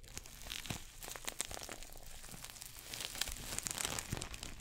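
A small red glossy coated-nylon shoulder bag, a pouch held in both hands, is scratched and crinkled with fingernails. Quiet, dense crinkling and bright scratchy rustles carry on throughout, with short sharp crackles rising a little louder toward the end.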